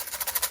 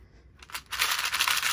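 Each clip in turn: First: A bright, dry rattle in quick bursts as a small plastic box of metal T-pins is shaken. Second: A bright, busy rattle of many small light pieces tumbling inside a hard plastic box of stitch markers.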